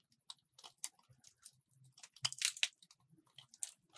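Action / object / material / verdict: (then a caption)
scrape / bar of soap scraped with a metal blade / soap / none. A solid purple soap bar, held in fingers with long purple nails, has thin slices scraped off it with a metal box-cutter blade. The result is a quiet series of short, crisp, crunchy scrapes, bright and papery with almost no low end. Each one stops dead with no ring.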